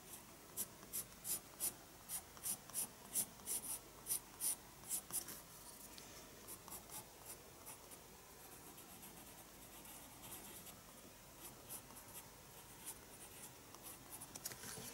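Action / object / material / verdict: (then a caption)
scrape / graphite pencil on a paper sketchbook page / paper / none. A graphite pencil is drawn across the page of a small spiral-bound paper sketchbook lying on a wooden desk, while the other hand holds the page. About ten quick, distinct scratching strokes come first, each a bright, high rasp. They then give way to softer, continuous rubbing that lasts to the end.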